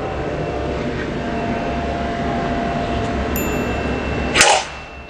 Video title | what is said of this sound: KACA ANTI PECAH, APAKAH ADA ??? | kita jatuhkan lagi dua kali dan tidak pecah